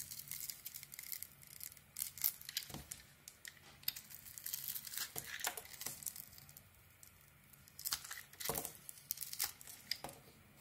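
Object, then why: Soap bar scraped with a metal blade. A solid beige Fa soap bar has its surface layer peeled and shaved off with a metal blade. Dry, crisp scraping and crinkling sounds come in bright bursts, with louder strokes around the middle and near the end.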